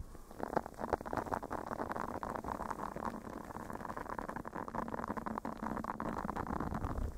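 A solid, flexible blue silicone face scrubber pad pressed against a fluffy microphone cover is scratched and rubbed with fingernails and fingertips. The result is a dense, muffled crackling and rustling with many short scratchy clicks over a steady low rumble. Its energy sits in the low and middle range, with nothing bright.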